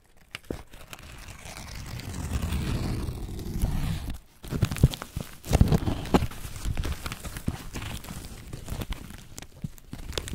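Fingertips and palms rub and press a pile of thin, dry, pale green corn husk leaves lying over husked white corn ears. The fibrous husks give a steady crinkling and crunching with a low, muffled rustle, broken by a brief near-silent pause around four seconds. After the pause come sharper, louder crackles that settle back into continuous rubbing.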